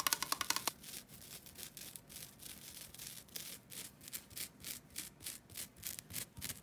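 Long dark-blue nails scratch a thin, solid, flat rectangular green nylon scouring pad held in both hands. A quick burst of sharp, bright ticks opens the clip, followed by steady rhythmic scratching strokes, about four per second, each a dry, high, hissy rasp with little low end.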